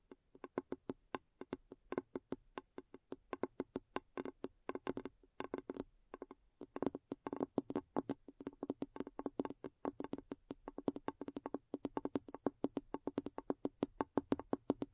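Long nails tap and scratch the base and sides of a large, clear glass bowl set upside down, hollow and empty. The result is a rapid, uneven stream of many short, dry clicks with a faint glassy tone around 277 Hz, each dying away almost instantly, broken by a brief pause near the six-second mark.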